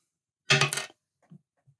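A 1968 nickel (non-silver) dime is dropped onto a table, giving a short, bright clink that dies away in under a second with no lingering ring. Two faint, low taps follow as it settles. The dull sound marks it as a non-silver coin.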